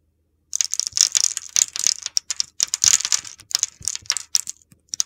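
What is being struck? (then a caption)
Bar of soap scraped with a metal blade. An oval, solid red bar of soap scored in a grid pattern is held in the hand and scraped with a metal utility knife blade, so small cubes crumble off. After a brief silence, a dense run of crisp, gritty, high-pitched crunching and scraping bursts follows, with brief clicks of falling pieces.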